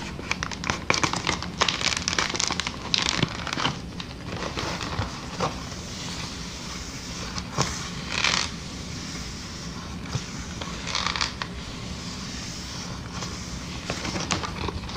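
Clear, hollow, air-filled plastic air-column packaging with inflated columns is squeezed, crinkled and tapped with long nails. The result is dense bursts of crinkling and crackling with sharp, bright clicky taps over a steady low hum, swelling in louder bouts around the start and middle.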